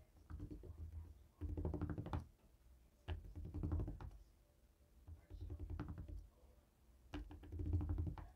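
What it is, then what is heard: Plastic LED remote control. A jade stone face roller taps a small flat black plastic LED remote control held steady in the other hand. Clusters of rapid, dull, low plastic knocks come in four bursts, separated by quieter stretches with faint handling sounds.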